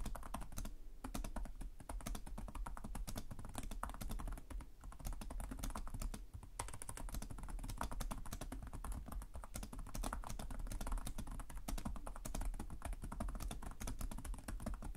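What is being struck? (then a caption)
Plastic laptop keyboard. Fast fingertip typing with both hands on the plastic keys of a black laptop keyboard. A steady, dense stream of short, soft clicks and taps runs for the whole clip, with a low, thumpy body and little ring after each keystroke.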